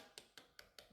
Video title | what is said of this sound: How to make Anzac cookies | when you tap them can you hear that nice hollow bit like our bread